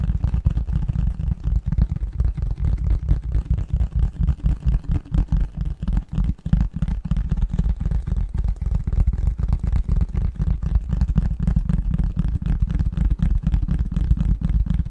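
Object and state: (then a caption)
Cardboard box lid, scratched and tapped. Fingernails scratch and tap rapidly across the flat top surface of a printed cardboard Christmas-pattern box lid held upright in front of the microphone. The result is a dense, muffled stream of low thumps and scrapes, about four per second. Nearly all the energy sits in a deep boomy range, with no bright high end, and it continues steadily for the full fifteen seconds.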